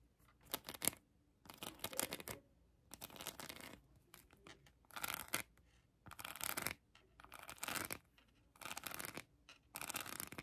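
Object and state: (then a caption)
Rhinestone-covered plastic heart. Long acrylic nails scratch a hand-sized plastic heart covered in colored acrylic rhinestones. Quiet, crisp scratching rasps come in short bursts separated by brief pauses, with a bright, gritty tone and little low end.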